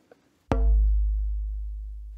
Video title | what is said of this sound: Wie man ein Cembalo baut - SWR Handwerkskunst | You can hear it, it sounds like cardboard